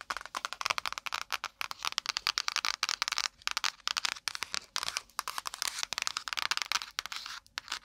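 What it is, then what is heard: Spiral notepad with kraft cardboard cover. Long acrylic nails rapidly tap and scratch the brown kraft cardboard cover of a small spiral-bound notepad with metal wire binding, held in front of a binaural mic. The result is a dense, irregular stream of dry, crackly clicks and rough scraping, bright and papery with no low end. Each tap stops almost instantly, with brief pauses between the bursts.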